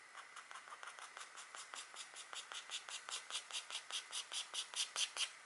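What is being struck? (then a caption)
Wax-coated scratchboard card scraped with a stylus. A green stylus held in a long-nailed hand scratches antler lines into the coating of a flat black wax-coated scratch art card. About twenty short, bright, dry scratching strokes follow one another in a quick, fairly steady rhythm, growing gradually louder toward the end.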